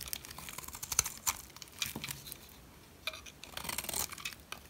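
A metal blade shaves curls off the face of a solid white dry soap bar, likely Dalan brand, producing a run of short, dry, crackly scrapes that are almost entirely bright and high with very little low end. The scraping comes in quick crunchy strokes, pauses briefly near the middle, then returns in a denser crinkling burst before fading.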